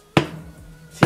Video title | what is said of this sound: ON FAIT DU SABLE MAGIQUE XXL ?!! Jonathan Et Amandine | quand on tape, genre ça C'est dur